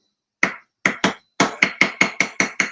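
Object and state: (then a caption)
Hard, dried-out cheese slice. A hard, dried-out, individually wrapped processed cheese slice is tapped on a small table beside a desk. It makes ten sharp, bright clicks that start as separate taps and then speed up into a steady series. Each click has a ringing tone near 2.1 kHz that dies away almost at once.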